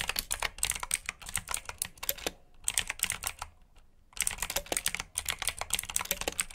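Fingertips with short nails type on a full-size black plastic mechanical keyboard with RGB backlit keycaps, clicky blue switches and hollow key housings. Rapid, bright, crisp clicks come in quick bursts, with a brief lull of softer taps in the middle before the fast typing resumes.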